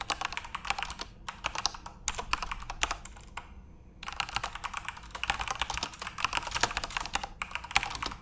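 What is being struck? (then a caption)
Plastic computer keyboard. Both hands type fast on a backlit plastic RGB Corsair mechanical keyboard, with fingertips tapping the keys in a steady stream of bright, short clicks. The typing pauses briefly near the middle before resuming at the same quick pace.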